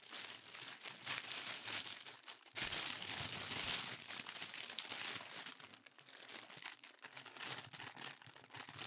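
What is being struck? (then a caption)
Thin tissue paper sheet. A thin sheet of pink tissue paper is bunched and crumpled in both hands, producing a dense, bright, continuous crinkling. A louder, fuller rustle swells partway through, then the crackles settle back to a lighter, irregular crinkle.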